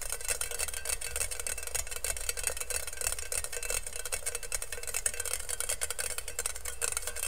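An empty, hollow stainless steel colander is held in both hands while nails and fingertips quickly tap and scratch its perforated bottom. The result is a dense, continuous stream of fast, crisp metallic ticks and scrapes with a bright, high sheen. A steady low hum runs underneath throughout.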